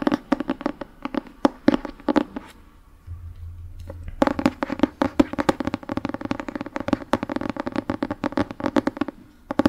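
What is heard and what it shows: A Harry Potter paperback book with an orange paper cover and a solid stack of pages is held in one hand while fingertips and nails tap and scratch its back cover. Dull, papery taps with a low-mid body around 285 Hz come in quick bursts, pause briefly for a few seconds over a low hum, then resume in a steady flurry until the end.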